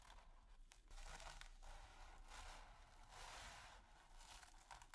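A stiff natural-bristle brush is rubbed and scratched rapidly over a flat, taut, finely textured grey primed canvas. It makes a continuous dry, scratchy rustle with a bright hiss that swells and eases in quiet waves, like crinkling or tearing.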